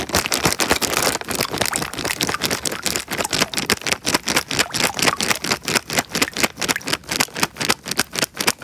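A small clear plastic bag filled with water is squeezed and crinkled by fingers close to the microphone. Rapid, bright crackling and rustling bursts come thick and nearly continuous at first, then settle into a quicker, choppier run of separate crinkles toward the end.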